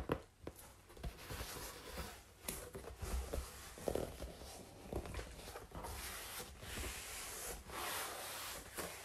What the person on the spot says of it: Tapping on cardboard and scratching on it too!